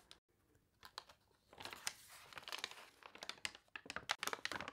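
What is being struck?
Glossy paper catalog.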